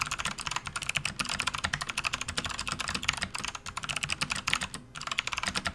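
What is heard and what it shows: Both hands type with their fingertips on a full-size RGB-backlit plastic membrane gaming keyboard resting on a desk mat, making a continuous run of about 29 key presses. Each press is a short, bright, clacky tap that dies away almost instantly, with little low end and a brief lull near the end.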